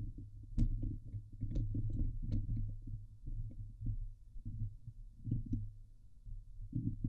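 Long glitter nails of both hands scratch the hollow steel mesh grille of a Blue Yeti microphone. The result is a dense, low rumbling scrape with a thumping, throbbing quality. Occasional sharp, bright ticks cut through as the nails catch the mesh.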